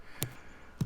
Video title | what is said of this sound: Historical Oak Pruning Decisions | I'm thumping it again you can hear how hollow this is